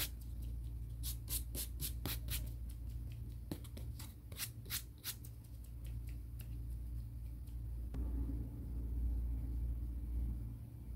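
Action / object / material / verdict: scrape / emery board nail file / emery board / none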